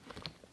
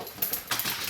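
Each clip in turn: First: hollow plastic doll body. Second: solid plastic doll body.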